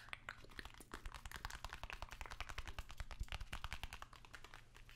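Fingertips and long nails tap and scratch the flat face of a long, narrow, hollow white cardboard box held upright. The result is a rapid, continuous run of dry, short taps with crinkly, bright scratching and a faint hollow thump, over a steady low hum.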